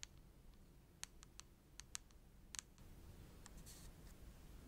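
Long nails tap rapidly on the front and back of a filled red plastic cream tube. Short, bright, dry clicks come in an uneven rhythm over a quiet low rumble. The clicks stop dead with no ring, and a soft hiss rises toward the end.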